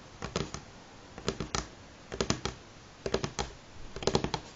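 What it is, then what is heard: Wooden table top, nail tapping. Medium-length fingernails of both hands tap fast, several fingers at a time, on a solid, light pine-grain wooden table top. About five quick bursts of sharp, bright clicks, each with a hollow woody knock, are separated by short quiet gaps. Each tap dies away almost instantly.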